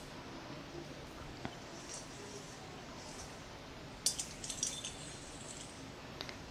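A large, hollow, clear glass plasma ball is tapped with fingertips and nails, giving eight quiet, bright clinks spread irregularly over a low steady hiss. Each tap rings only briefly, and most come in a short cluster partway through.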